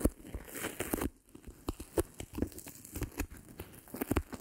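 A thin, flat, white self-adhesive felt sheet about the size of a palm is held uncovered in both hands close to the microphone. Long pink-painted nails and fingertips rub, scratch and crinkle it as it is pulled and partly split apart. The result is a close, dry stream of short tearing and crinkling crackles with soft low thumps and a brief quiet pause near the middle.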